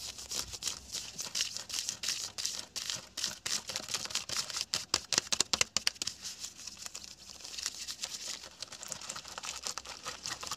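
Fingertips and short nails rapidly scratch and rub worn beige/khaki cotton twill trousers on a seated person's thigh and hip pocket, a flat fabric surface. The result is a dense stream of quick, dry, bright scratching strokes, almost entirely high-pitched with very little low end, swelling louder in the middle and easing off toward the end.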